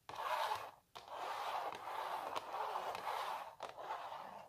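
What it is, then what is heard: Printed canvas on a wooden frame. Long natural nails scratch across a small printed canvas stretched on a wooden frame, making a dry, raspy scratching centred in the midrange with a bright papery edge. The strokes run in near-continuous passes, broken by a short pause just before one second and a brief dip near the end.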